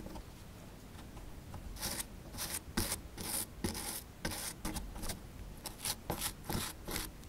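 A small solid plaster block from a dinosaur excavation kit, held in one hand, is scraped and chipped with a small metal pick-style tool to expose a toy skeleton. After a quiet, low rubbing start, a series of bright, gritty scrapes and short rasping strokes comes in uneven bursts, each dying away quickly.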